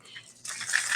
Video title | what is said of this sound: Myth vs. Facts about the Missouri Poison Center | this is a rattle y'all